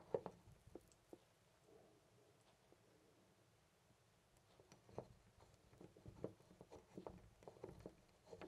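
A loose brass-finish metal door knob on a white panel door is gripped by hand and jiggled. It gives quiet, dry clicks and rattles with almost no ring, centered around 450 Hz. A burst of clicks comes early, then a near-silent stretch before denser rattling returns.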